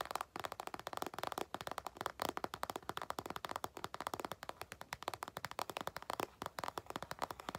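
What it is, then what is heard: Patent faux-leather makeup bag. An empty, medium-sized glossy burgundy patent faux-leather makeup bag with a zipper is tapped and scratched on top with long nails and fingertips. The result is a fast, steady stream of many crisp, dry taps and clicks, centered in the midrange with almost no low end. Each tap stops short with no ring.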